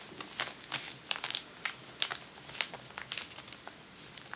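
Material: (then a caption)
Paper. Long nails scratch across a large crinkled sheet of tissue paper lying flat on a table. Quiet, bright, dry crinkles and scratches come in irregular bursts, with crisp papery crackles and almost no low end.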